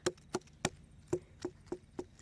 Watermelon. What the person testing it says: it sounds hollow to me